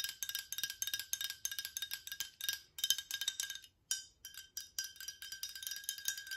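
Long acrylic nails tap rapidly on a tall VOSS glass bottle with a silver cap, partly filled with yellowish liquid, hitting both the glass and the cap. The result is a quick series of bright, clicky taps with a very short ring and a clear tone near 3.1 kHz. There is a brief pause just before the four-second mark.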